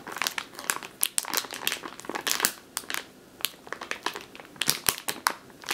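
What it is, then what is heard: Plastic bag of flour. A full plastic flour bag with a printed label, lying on a wooden table, is squeezed and scratched with long green-painted nails. The result is a steady run of bright, crisp plastic crinkles and rustles in quick irregular bursts, with almost no low end and very short decay.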